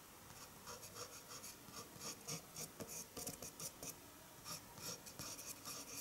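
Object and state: Eraser rubbed on paper.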